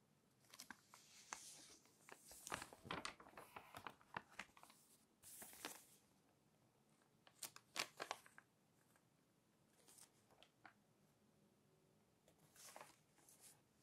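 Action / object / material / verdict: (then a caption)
scrape / glossy paper magazine pages / glossy paper / none. Fingertips and long nails lift, flip and smooth the thin glossy pages of a thick glossy fashion magazine lying open on a white table. Soft, bright crinkling and papery rustles come in short bursts with quiet gaps between them, and the pages crinkle as they turn.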